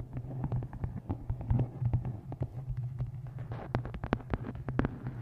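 Fingertips and long nails tap the top edge and cover of a dark-covered hardcover book with a taped photo, resting on a microphone. Rapid, irregular taps give short, dull thumps and sharper clicking nail strikes over a steady low hum.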